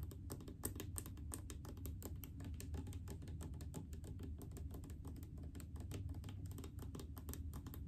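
A large blue plastic mouthwash bottle full of liquid is tapped rapidly with long painted fingernails. The result is a quiet, steady stream of crisp clicking taps over a dull, low, hollow thud from the filled bottle.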